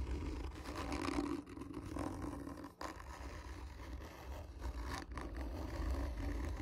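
Long nails scratch hard and slowly across the top of a hollow, black textured cardboard gift tube. The result is a continuous low, rumbling scrape with a hollow resonant hum, briefly dipping quiet between strokes.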